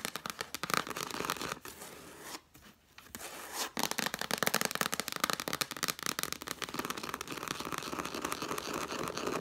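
Long black nails tap and scratch rapidly on the red cloth cover of a hardcover book lying flat. The result is a dense stream of dry, crisp clicks and scratchy, tearing-like rasps with bright texture and little low end. There is a brief quieter lull in the middle before the fast tapping resumes steadily.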